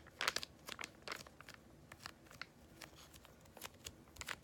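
A small yellow Freeman laminated foil-plastic face mask sachet, likely filled, is crinkled and squeezed with fingertips and long nails. Quiet, bright crackles and crisp crinkles come in short, irregular bursts over a faint background, with almost no low end and no ringing after each crunch.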